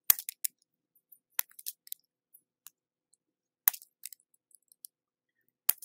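A red plastic peeler with a metal blade scrapes thin translucent ribbons off the edge of a hand-sized orange soap bar held by fingertips, in a repeated scraping peel. Quiet, bright, dry crackling scratches come in short bursts with no low end: three louder strokes near the start, middle and end, with scattered smaller clicks between them. Each sound cuts off almost instantly.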